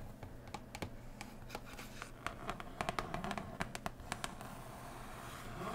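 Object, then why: Cardboard board game box. Long nails tap and scratch along the surface and edges of a large, closed cardboard board game box lid. Crisp, bright taps click out in an uneven run over a soft, low scraping bed. Near the end the tapping gives way to a steady scratching that slowly grows louder.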